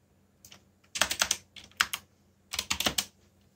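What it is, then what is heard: Plastic mechanical keyboard. Fingertips type quickly on a backlit black plastic mechanical keyboard, producing bright, sharp clicks that ring only briefly. The keystrokes come in short clustered bursts separated by brief pauses.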